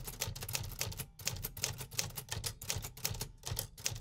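Fingertips tap the metal keys of a 1950s vintage manual typewriter in a steady but uneven stream of quick, bright mechanical clacks with a low thump beneath. Each strike is short and dies away fast, with only a brief pause about a second in.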